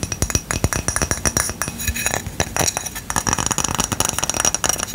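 Tapping and scratching on a ceramic coaster produces a rapid series of short, bright, glassy clinks with almost no ring, mixed with scratchy friction. The taps come in quick, dense bursts with brief pauses between them.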